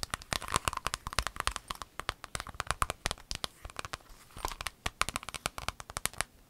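An empty rainbow clear vinyl pencil case is folded and crinkled, then tapped with long acrylic nails. The result is a dense run of sharp, dry clicks and crinkly crackles with a bright, papery edge. Each tap dies away almost instantly.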